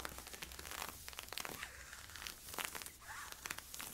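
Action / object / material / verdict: scrape / polyester-spandex leggings / polyester-spandex / none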